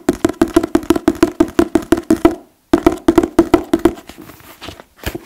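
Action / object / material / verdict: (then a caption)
tap / paper book / paper / none. A paper book is tapped in quick, dry, hollow knocks with a woody tone around 336 Hz that dies away almost instantly. About two dozen taps come in a steady run, pause briefly, then resume. The later taps grow softer and sparser, ending with a couple of firmer knocks.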